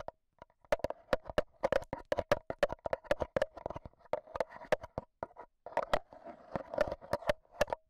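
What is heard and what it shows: A handheld black Zoom H1n recorder has its metal mesh microphone head tapped with AA batteries worn as long nails. Many quick, close, clicky metallic taps land in uneven bursts, each with a short ringing tone near 530 Hz and a bright tick on top. Brief silent gaps separate the clusters.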